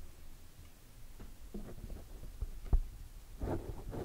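Long painted nails on both hands tap and scratch the surface of a soft, porous black foam microphone windscreen. The result is quiet, muffled, low-heavy rustling and soft thumps with no bright edge, with one sharper tap standing out near the middle before a denser patch of scratching at the end.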